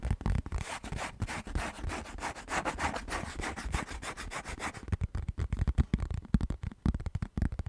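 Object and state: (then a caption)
Plastic lid, rubbed and scratched. Fingertips and nails rub and scratch across the textured surface of a round orange plastic lid. A steady, dense scraping with a dull low thump gives way after about five seconds to quicker, choppier scratches that stop and start in short bursts.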